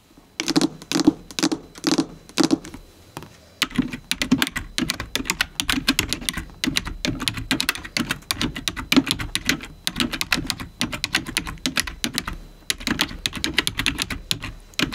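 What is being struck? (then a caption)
Plastic computer keyboard. The keys of a black full-size plastic computer keyboard, lying flat on a white table, are tapped rapidly with the long-nailed fingertips of both hands, as in typing. A few short bursts of sharp, bright clacks with a hollow low-mid thock come first. A near-continuous stream of fast, dry, clicky taps then follows and keeps going to the end.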